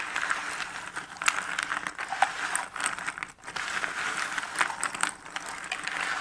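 Fingertips with painted nails gather, stir and scratch through a heap of small cardboard jigsaw puzzle pieces in a shallow cardboard box lid. A steady, dry rustle of papery clicks and scrapes sits in the mid and high range with no low end, dipping briefly to near silence just past the midpoint before resuming.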